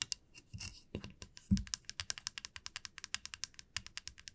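Long nails and fingertips tap and scratch a flat, solid light-wood wide-tooth comb lying on a felt mat. A few soft scratchy strokes and dull low thumps are followed by a quick, steady run of dry, crisp clicks with bright, high crackle and almost no ring.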